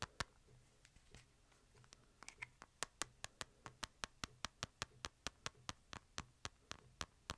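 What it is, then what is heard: Fingertip taps on a plastic phone case. Fingertips tap the back and edges of a smartphone held sideways in a light plastic case, making 29 short, sharp, bright clicks with almost no ring. The taps start soft and irregular, then become steady and louder from about the third second, over a faint low hum.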